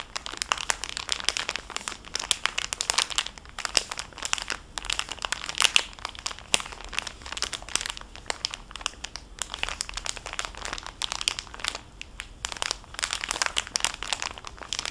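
A small, full clear cellophane bag holding a flat fabric makeup wipe pad is squeezed and crinkled with fingertips and long painted nails. The result is a steady stream of sharp, bright crackles and crinkles with almost no low end, each snapping off quickly.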